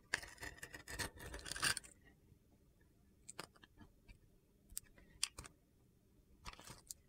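A metal utility knife scores a crosshatch into a hand-held solid red and white glitter soap bar and chips small cubes off its surface. Dense, gritty, crunchy scraping fills the first two seconds, then gives way to sparse, sharp, bright clicks and snaps as the cubes break away against quiet pauses.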